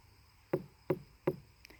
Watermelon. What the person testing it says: if it sounds very dull like it doesn't resonate it tells you it's under ripe but a sound like this is perfect